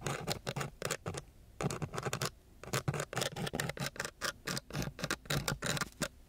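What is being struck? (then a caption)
Sandpaper sheet scratched with a thin wooden stick. A thin wooden stick tip scratches and taps on a coarse brown sandpaper sheet. It makes a run of short, gritty scratching strokes with bright hiss and a low body, grouped into quick bursts separated by brief pauses.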